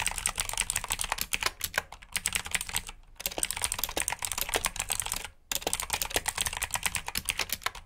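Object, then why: Plastic mechanical keyboard. Fingertips type continuously on a black plastic mechanical keyboard with backlit keycaps and blue switches. It makes a rapid stream of sharp, bright clicks with brief pauses near 3 seconds and 5.4 seconds.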